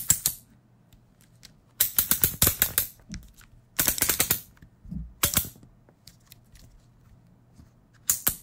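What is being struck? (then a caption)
Plastic electric shaver head and guard. A plastic electric shaver has its head and guard clicked and tapped with fingers. Bursts of sharp, bright plastic clicks come in quick clusters separated by short pauses, each click dying away almost at once over a faint low hum.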